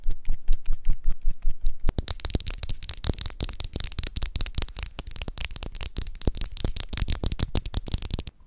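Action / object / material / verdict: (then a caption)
tap / flat paper card cutout tapped with fingernails / paper card / none. A flat orange paper cutout of a MAC foundation dropper bottle, thin card held in both hands, is tapped and scratched with long acrylic nails. The first couple of seconds are separate, crisp, dry taps; these give way to a faster, denser run of clicking and scratching with a faint steady high tone underneath. Each tap is short and dull with almost no ring.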